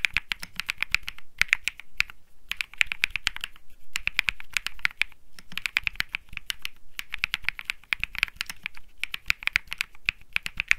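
Fingertips type continuously on a cream mechanical keyboard with plastic keycaps. Rapid, crisp clicks come in bursts separated by brief pauses, each keystroke a sharp, dry tick centered around 2.4 kHz with a bright top and almost no ring.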